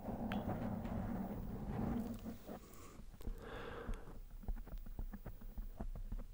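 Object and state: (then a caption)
Foam microphone windscreen, no verdict. Fingertips of both hands tap, rub and scratch a fist-sized, soft, spongy black foam windscreen over a microphone, close up. The first half is a dense, low, muffled rubbing rumble. It then gives way to quieter scratching and a run of short, soft thumping taps.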